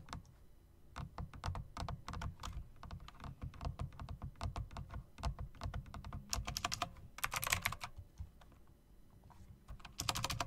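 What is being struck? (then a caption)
Mechanical keyboard with plastic keycaps in metal rims. Fingertips, then long nails, type on a plastic and metal typewriter-style mechanical RGB keyboard with round plastic keycaps in chrome rims. The result is a steady run of sharp, bright key clicks over deep thocking bottom-outs, with dense bursts of rapid clatter near the end.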